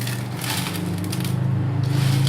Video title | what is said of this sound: BESAN POTATO BHUJIA (बेसन र आलुको भुजिया) | You can hear the sound, how crispy